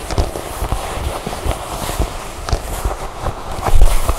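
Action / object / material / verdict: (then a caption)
tap / leather jacket / leather / none. Long nails tap and scratch the surface of a dark leather jacket lying flat, working on both sides of its center zipper. Quick, dull, low thumps repeat over a soft, steady scratchy rustle, with the tapping growing louder near the end.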